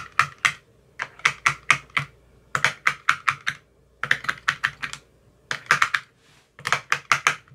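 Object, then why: Plastic ice cube tray with silicone cups. A thin metal rod with a white tip taps the cells of an empty clear plastic ice cube tray with green silicone cell bottoms. About 28 short, crisp clicks come in quick bursts separated by brief pauses. Each click is bright and dies away almost at once.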